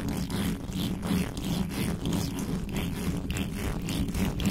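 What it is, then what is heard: Metal microphone grille being scratched. Fingertips and long nails rapidly scratch a hollow metal mesh microphone grille with no cover. The result is a dense, continuous scraping rasp with a strong low hum and brisk repeated strokes that don't fall into a steady rhythm.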